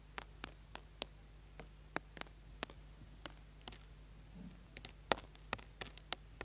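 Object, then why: Small solid soap bar. A small, solid orange bar of soap is held in the hand while its edge is scratched with a tool and fingernails. The result is a quiet series of short, dry, bright clicks and scrapes over a faint low hum, with about nineteen separate strokes.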